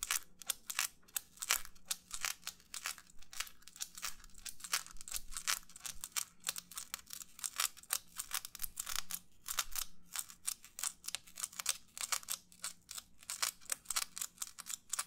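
Fingernails from both hands rapidly scratch and tap a white, textured, disposable paper plate held close to the mic. The result is a fast, continuous stream of crisp, dry, bright scratches and clicks, with a faint low hum underneath.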